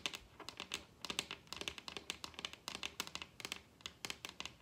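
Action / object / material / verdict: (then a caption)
tap / wooden tabletop / wood / none. Long red acrylic nails tap a large solid wooden dining tabletop with both hands. The result is a rapid, uneven run of sharp, dry clicks, bright and concentrated around 3.6 kHz and higher, with almost no low end. Each tap dies away instantly.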